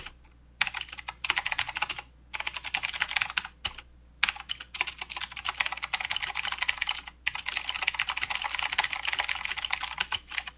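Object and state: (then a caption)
Plastic mechanical keyboard. Both hands type with their fingertips on a full-size mechanical keyboard with plastic keycaps and blue clicky switches. Rapid, bright, crisp clicks come in fast runs, broken by a few brief pauses, with each keystroke snapping off almost instantly.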